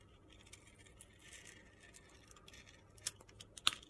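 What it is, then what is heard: Soap bar shaved with a blade. A metal box-cutter blade shaves thin slices off the purple glitter coating of a solid rectangular soap bar with a white core, held in the hand. Quiet, bright, gritty scraping and faint ticks build to two sharp, crisp crunches near the end.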